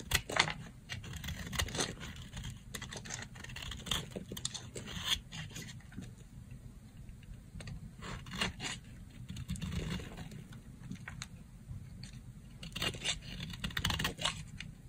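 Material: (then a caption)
Soap. A yellow box-cutter blade shaves flakes off the face of a solid, dry pink soap bar. It makes a quick, irregular series of dry, crackly scraping strokes with a bright, papery edge over a steady low rumble. Each stroke cuts off sharply with no ring.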